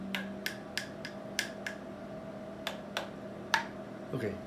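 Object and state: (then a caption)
Damped loudspeaker passive radiator. A Polk SDA SRS 15-inch loudspeaker passive radiator treated with Dynamat Extreme damping material is tapped nine times in a ring test. Each tap is a short, sharp click that dies away almost at once. A faint steady hum runs underneath.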